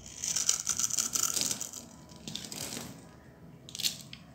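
A solid, dry green bar soap held in the palm is shaved and cut into small cubes with a metal utility knife blade, and crumbling chips fall away. A dense run of crisp, bright, crackling scrapes fills the first second and a half, followed by softer, quieter scraping. A final sharp crunch comes near the end.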